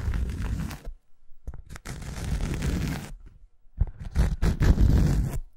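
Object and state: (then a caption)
Cork coaster. A thin round cork coaster held in the hand is tapped and scratched across its surface with long acrylic nails. Dry, crackling scratches and short taps come in uneven bursts separated by brief silences, with a dull, low-heavy tone and almost no ring after each contact.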